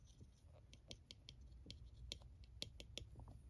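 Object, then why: Hard plastic scalp massager tapped with a plastic stylus. A white plastic stylus tip traces and taps the smooth domed back of a small blue hard plastic scalp massager with a handle, held in hand. Quiet, soft scratching is broken by short, bright plastic clicks around 3.3 kHz that die away almost instantly, over a low background rumble.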